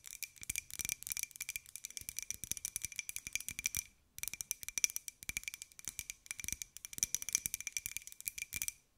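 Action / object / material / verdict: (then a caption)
tap / small ceramic jar / ceramic / none. A small, hollow white ceramic jar with a pink and gold pineapple print is tapped and scratched with long nails. The result is a fast, dense run of sharp, bright clicks with almost no ring, in three bursts separated by brief pauses.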